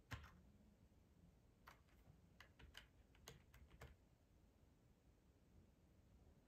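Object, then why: Plastic computer keyboard. Fingertips of both hands tap the keycaps of a black plastic split ergonomic keyboard with a hollow body, resting on a tablecloth. Soft, bright, clicky keystrokes come in a loose run over a quiet low rumble, with a sharper click at the start. Each tap decays almost at once.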